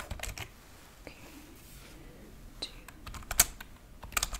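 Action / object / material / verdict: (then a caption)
tap / plastic computer keyboard / plastic / none. Long painted fingernails and fingertips type rapidly on a white plastic computer keyboard with low-profile keys, lying on a wooden table. Sharp, bright, clicky key taps come in irregular bursts separated by quiet gaps, with very little ring after each tap.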